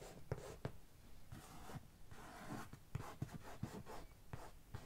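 One hand scratches the top of a medium, closed, hollow brown corrugated cardboard box with long nails, making a dry, papery scraping rasp. Occasional light taps land between the scratches as short, dull, hollow knocks that die away almost instantly.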